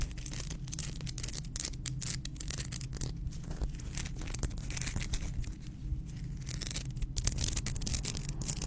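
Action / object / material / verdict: scrape / hand-sized salt rock / salt / none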